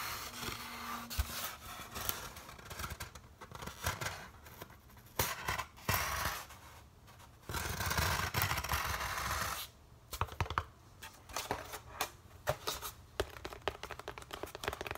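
Fingertips tap and scratch the surface of a large, light, hollow-shaped white molded polystyrene foam packaging insert. Dry, squeaky scratching and sharp taps come in irregular bursts, with a steadier stretch of continuous rubbing in the middle. Bright, crackly textures ring against a low, hollow thump from the foam.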